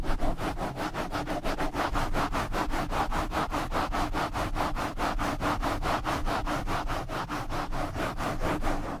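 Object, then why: Foam microphone windscreen rubbed with nylon mesh gloves. A black foam windscreen over a blue desktop microphone is rubbed fast with both hands in purple and light-blue nylon mesh exfoliating scrub gloves. It makes a steady, rapid series of rough, scratchy swishes over a deep, rumbling handling noise. The sound holds at an even level for about nine seconds, then drops off at the end.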